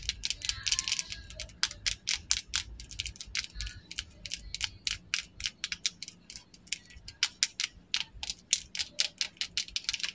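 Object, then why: Plastic lip liner pencil. Long acrylic nails set with rhinestones tap and scratch along the shaft of a slim, small, solid red plastic lip liner pencil held in both hands. The result is a quiet, irregular stream of sharp, bright clicks and light scratches, each dying away almost instantly, with almost no low end.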